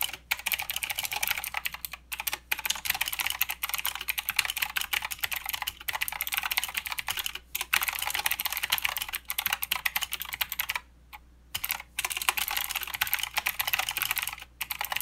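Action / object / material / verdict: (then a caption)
tap / mechanical keyboard with plastic keycaps / plastic / none. Both hands type with their fingertips on a mechanical keyboard with plastic keycaps and blue switches. It makes a dense, bright, clicky patter with very short decays and almost no low end, and it pauses briefly several times, with the longest gap about two-thirds of the way through.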